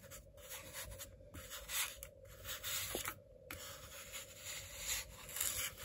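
A white ceramic knife slices a flattened slab of solid packed blue kinetic sand on a white cutting board into strips, the blade pressing through the sand. Each cut makes a soft, bright, crunchy scrape and rustle, with short pauses between strokes. A faint steady low hum runs underneath throughout.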